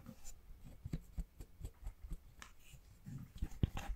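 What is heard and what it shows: A red hollow plastic Joy-Con controller grip holding a red and a blue Joy-Con is held in the hands and tapped and scratched with fingertips and nails. Nine quiet, dull, low-pitched taps die away almost at once, with faint soft scratching between them.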